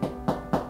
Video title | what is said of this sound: Bloat in dogs would kill? 狗隻肚脹會奪命？ | it's like a drum so if you if your dog has a big sort of bloat in left side and you tap it it sounds like a hollow sound inside